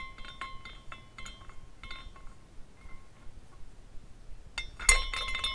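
A small glass carousel figurine spins after being set in motion by hand, and its hanging glass horses strike each other. Bright, glassy clinks ring at an irregular pace over a low, soft rumble. Near the end comes a louder burst of tinkling.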